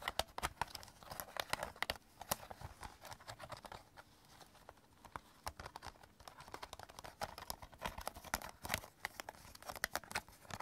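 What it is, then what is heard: Plastic CD cases. Fingertips tap and scratch the top case and edges of a stack of several clear hard plastic CD jewel cases lying on purple fabric. The result is quiet, rapid, dry clicks and scratchy rustling, bright and crisp, with almost no ring after each tap. Activity thins out to soft scratching in the middle before the tapping picks up again.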